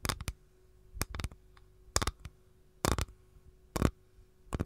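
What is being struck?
Capiz shell tray.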